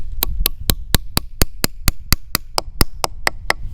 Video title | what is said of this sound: Can we Tap 6,600 Trees in 13 Days?? | you want to tap it till you hear an off sound you know you're there